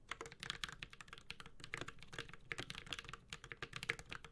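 Continuous typing with the fingertips of both hands on a Space65 Cybervoyager, a 65% mechanical keyboard with an aluminum case, plastic keycaps and Holy Panda switches. Rapid, bright key clacks centered around 2 kHz land in quick succession over a soft low thud, each dying away almost instantly.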